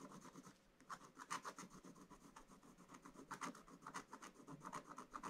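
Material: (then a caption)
Coated paper. A wooden stylus scratches the coating along the top edge of the picture on a flat, black-coated scratch-art paper page. Quiet, dry rasping strokes repeat in quick succession, each a short scrape with a brighter tone around 1 kHz and a hiss reaching high. The strokes rise and fall in a steady back-and-forth rhythm with no ring after each one.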